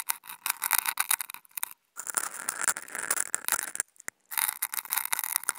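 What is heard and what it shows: Two wooden toothpicks fitted with contact mics scratch across a flat white non-woven fabric sheet, producing dry, bright, crackly scraping with no low end. The scratching comes in busy bursts of rapid ticks and rasps, broken by two brief silent pauses.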